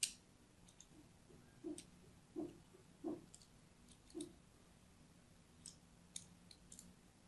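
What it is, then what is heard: Bar of soap being scored with a blade. A thin blade scores diagonal lines into the surface of a solid orange-and-white striped soap bar held upright in the hand, scratching and cutting into it. Soft, dull scrapes with a low body alternate with bright, crisp clicks in a loose, irregular series of quiet strokes, each fading almost at once.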